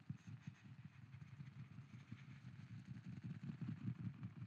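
A wooden lid is tapped as an ASMR trigger, with an echo effect added. Soft, rapid, somewhat irregular tapping produces quiet low thuds centered around 120 Hz, blurring into a continuous muffled patter with almost no bright content.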